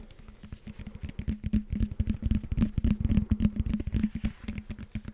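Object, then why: Knobbed foam roller. Fingertips tap and scratch the knobbed foam blocks of a hollow blue foam roller. The result is a quick, uneven stream of soft, dull thumps with a low hollow tone and light scratchy texture, swelling louder in the middle before easing off.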